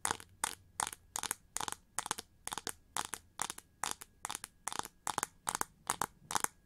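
Long nails quickly and aggressively scratch the ridged wing shapes of a winged gold chrome-plated plastic hair brush held upright with both hands. The result is a steady, rhythmic series of short, bright, crunchy scratching bursts separated by brief quiet gaps.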